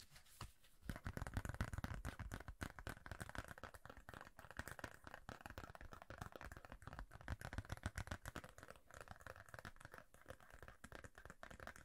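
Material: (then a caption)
Plastic. Fingernails scratch and tap the surface of a thin, rigid red plastic referee card held in both hands. After a brief quiet opening, a dense, uneven stream of quick, dry scratches and clicks runs to the end, each stopping almost at once. The sound stays soft and close, with most of its weight low and little brightness.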